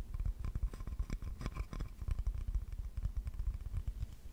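Fingertips and nails tap and scratch the glaze of a small, solid, green-glazed ceramic plate with an owl drawing on it. A quick, steady run of soft, dull taps and light scratches follows, each one short with almost no ring and weighted toward low thuds.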